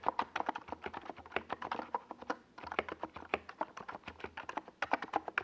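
A compact NiZ Plum Atom 68 mechanical keyboard with a white plastic case and purple and yellow Domikey Gas Attack SA plastic keycaps, resting on a purple desk pad, is typed on steadily with the fingertips of both hands. Rapid, short plastic clacks centered around 1 kHz run continuously, with a brief pause near the middle before the typing resumes.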